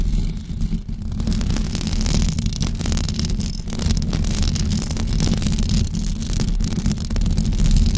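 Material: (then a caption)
Knit fabric. Long blue acrylic nails scratch and tap a white knitted fabric cover stretched over a rounded microphone head. The result is a dense, steady, close-up scraping rumble, heavy in the lows, with faint bright crackles running through it for the whole clip.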